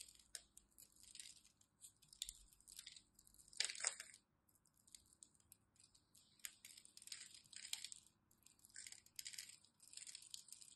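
A utility knife blade cuts and scrapes scored cubes off a solid, palm-sized, blue and white striped glycerin soap bar held in hand, and crumbs fall. The result is quiet, bright, crisp crackling and scraping in short bursts, with almost no low end.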